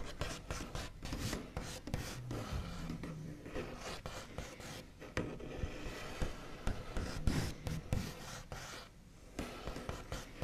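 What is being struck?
Wooden table top.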